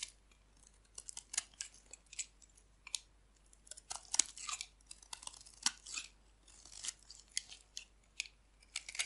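A solid white oval bar of dry soap is held in the hand and shaved with a metal blade, curling off thin flakes. A quiet series of crisp, bright scraping crackles comes in short, uneven strokes with almost no low end.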